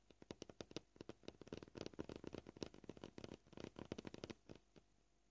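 Fingernail tips click against a solid white plastic cutting board up close, producing quiet, dry taps with almost no ring. The taps come at an uneven pace, from sparse single clicks to quick clustered bursts, before thinning out at the end.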